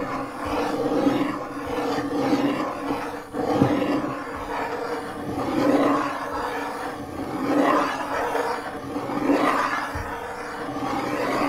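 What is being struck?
Nothing is struck.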